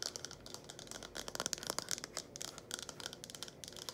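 A small, hollow, empty red plastic cup with a curved lip, held in both hands, is tapped and scratched quickly with long acrylic nails. The result is a fast, irregular stream of crisp, bright clicks and scratchy rustles with almost no low end. Each tap dies away instantly.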